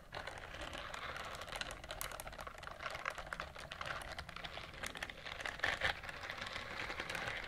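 A pink silicone scrubber glove has its bristles scratched with long nails, producing a dense, continuous stream of fast, dry clicking and rasping ticks. The sound is bright, concentrated in the upper-mid and high range, and stays at a steady, quiet level with a slightly louder burst near the end.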